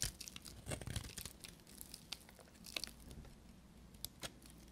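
A small piece of dry blue soap held in the fingers has crumbly flakes shaved off it with a knife blade. The result is quiet, dry crackling scrapes and crunches with bright, sharp crisp edges.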